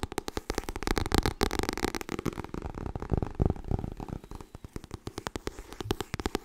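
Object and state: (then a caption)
Paperback book. Long nails tap rapidly and unevenly on a white softcover copy of Getting Things Done while the paperback is flipped upside down. The result is a quick stream of dull, low, papery thuds and clicks that die away at once.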